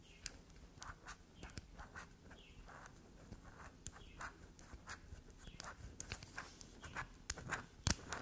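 Long nails quickly scratch, scrape and dig into the grooved, scraped face of a small solid black soap bar resting on a table scattered with shavings. Quiet, soft, dry scratches and light taps follow one another rapidly, each a brief bright scrape with a faint low thud beneath, and a sharper scrape stands out near the end.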